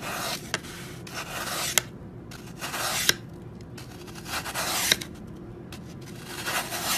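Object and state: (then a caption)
Floral foam block being cut. A serrated metal knife held by hand saws and scrapes down through a large, solid, brick-sized block of green Oasis floral foam on a white surface, shaving off crumbly foam. Soft, bright, hissing rasps come in repeated strokes, with a few sharp little clicks cutting through.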